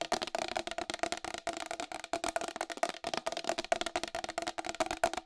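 Long acrylic nails tap fast on the rim and face of a round white plastic wall clock with a hollow case. The result is a rapid, uneven stream of sharp, bright clicks with a hollow mid-toned knock around 680 Hz, each dying away almost at once.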